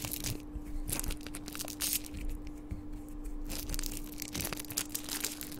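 A small, thin, hollow crumpled gold metallic foil wrapper is held in the fingertips and crinkled and squeezed right beside the microphone. It makes dense, bright crackling and crunching bursts that rise and fall in irregular clusters, over a faint steady low hum.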